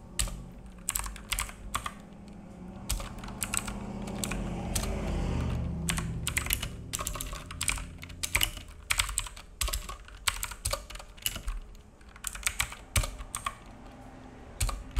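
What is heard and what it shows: Fingertips of both hands type on a black full-size mechanical keyboard with plastic keycaps and a hollow case, resting on a wooden desk. Irregular bursts of sharp, bright, clacky key taps ring briefly over a steady low background rumble, which swells and fades in the middle of the clip.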